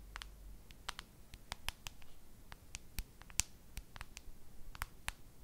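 Long nails tap and scratch the back of a solid white plastic case on a handheld smartphone. The result is a quiet, irregular patter of short, dry, bright clicks with no ring, over a faint low rumble.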